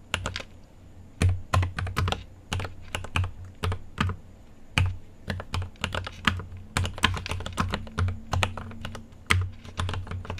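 Fingertips type on a mechanical keyboard with an aluminium case and plastic keycaps, giving a steady run of sharp, clicky keystrokes. Each press has a deep, thocky low body under a bright top click and decays quickly. The pace is uneven, with short bursts and pauses.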